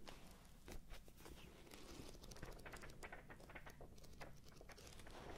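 The pages of a thick paperback book with a red cover are flipped and riffled with the thumb close to the microphones. A quiet run of soft, dry paper flicks and rustles crosses the band from low to bright over a steady low rumble.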